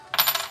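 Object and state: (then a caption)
Dull-sounding silver round. A Sunshine Mint silver bullion round with a kangaroo design is ping tested. It gives a brief, bright metallic tap with a faint high tone that fades within a fraction of a second. The ring is short and dull, and the round sounds cheap.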